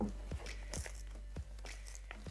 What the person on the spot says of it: hear how crispy it's become